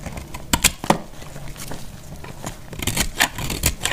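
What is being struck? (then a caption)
Bar of soap cut with a blade. A hand-held solid bar of dried, multicolor speckled soap is cut with a box-cutter blade, shaving off crumbly pieces. The result is a series of sharp, dry, bright scraping cracks over a soft, crumbly rustle, each cut ending quickly with little ring.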